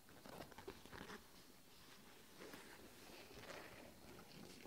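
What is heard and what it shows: Long nails and fingertips tap and scratch the front panel and mesh strips of a closed red and grey nylon fabric backpack. The result is a soft, patter-like run of scratchy taps and rustles with bright fabric texture.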